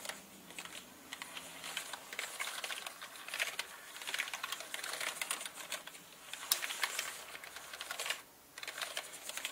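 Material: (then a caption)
Plastic. Slow typing with fingertips on a full-size black plastic mechanical gaming keyboard with plastic keycaps and a hollow body. Many bright, short clacks come in uneven bursts with brief pauses, and a quieter gap appears near the end before typing resumes.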